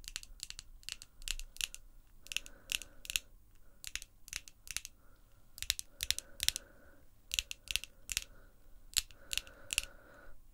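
Long, glossy pink acrylic nails tap and click against each other, nail on nail. Quick, sharp, bright clicks come in uneven bursts with almost no ring, over a faint mid-range hum that comes and goes.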